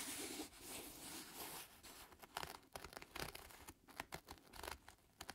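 Fingertips scratch and rub the leather upper near the laces of a black leather lace-up shoe with glue streaks, held in hand. A steady, bright, hissing rub lasts about a second and a half, then gives way to quick, irregular scratches and crinkly scuffs that stop and start. The sound is quiet and close, with little low end.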